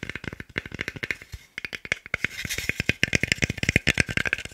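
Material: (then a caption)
Wood. A small, solid, pale wooden cube held in the hands is tapped fast with fingertips and nails, giving about 32 quick, dry clicks with a bright edge and almost no ring. The taps come in rapid bursts, pause briefly near the middle, then resume slightly louder and denser.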